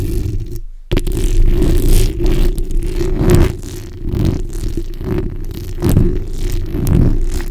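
The backs of long nails scratch across a black hollow steel mesh microphone grille, making a dense, continuous scraping that comes through mostly as heavy low rumble and crackle. After a brief drop to silence near the start, the scratching resumes in uneven surging strokes that swell and fade with some brighter, raspy edges.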